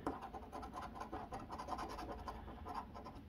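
A copper coin scratches the coating off the number area of a flat cardboard Arkansas Lottery Double Cash scratch-off ticket, held by the fingertips on a wooden table. Quick, steady, raspy strokes run back and forth in a continuous papery scrape with a mid-range rasp, starting with one sharper stroke.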